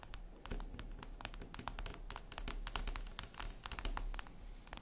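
Long acrylic nails scratch and tap across a solid, flat, reflective glass mirror tabletop. Quick, bright clicks and ticks come in a dense, uneven run over a soft scratchy hiss and a low background rumble. Each tap stops dead with no ring.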